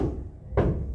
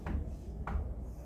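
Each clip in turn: First: One low, booming knock that rings briefly: a hollow surface with air trapped beneath it. Second: Two short, dull low knocks that die almost at once: a solid spot with cement underneath.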